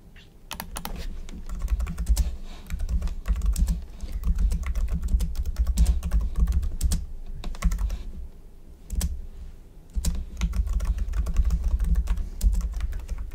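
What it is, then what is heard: Plastic computer keyboard being typed on. Fingertips type on a black plastic computer keyboard resting on a desk, after the hands rest on it. A steady run of quick, short key taps carries a heavy low thump beneath bright clicks. The typing eases into a brief lull near the middle before picking back up.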